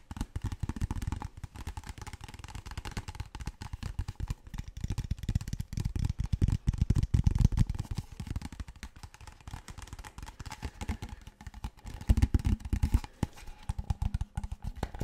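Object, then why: Large plastic water bottle. A large, clear PET water bottle that appears empty is tapped rapidly with fingertips and nails on its body and label. The result is a dense stream of short, hollow, low-heavy taps that die away almost instantly, with louder bursts around 6–8 seconds and again near 12–13 seconds.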